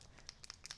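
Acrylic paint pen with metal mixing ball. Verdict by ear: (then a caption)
Loose. A Tuli Art acrylic paint pen from the pastel set, number 19, that hasn't been used in a while is shaken until the ball bearing inside rattles free to mix the paint. A few quick, bright clicks of the ball rattling sound over a faint background hiss, showing the paint is starting to mix.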